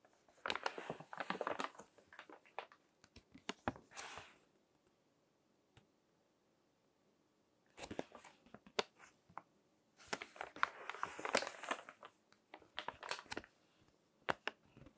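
Fingertips turn and crinkle the pages of a thick, crinkled glossy paper magazine resting on a table. Bursts of bright, dry crinkling and rustling come with sharp, quickly fading snaps, broken by a near-silent pause midway before the crinkling resumes.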